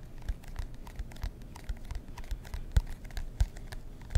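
Fingernails scratch the cardboard cover of a marbled composition notebook held in both hands. Soft, dry scratching and scraping strokes come in an uneven rhythm, with a few sharper louder scrapes standing out.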